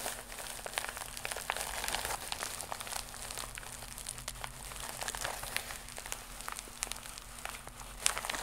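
Long acrylic nails of both hands scratch a flat, iridescent, croc-embossed holographic plastic mailer pouch held against the chest. The result is a dense, continuous run of bright, crinkly scrapes and crackles with quick, dry attacks. A faint low hum sits steadily underneath.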